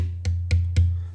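A drum shell with heavy cast metal lugs bolted on is tapped three times. Each tap gives a low, deep thump centred around 86 Hz that decays over about a third of a second. The pitch is lower than the bare shell because the added mass of the lugs restricts the shell's vibration.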